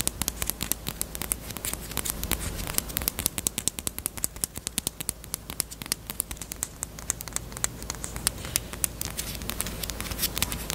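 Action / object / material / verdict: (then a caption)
tap / small hard plastic bunny-shaped chapstick case / plastic / none. A small, closed, hollow pink hard plastic bunny-shaped Peep chapstick case with a keyring is tapped rapidly with long acrylic nails. The result is a fast, steady stream of sharp, bright clicks with almost no ring, over a faint low hum.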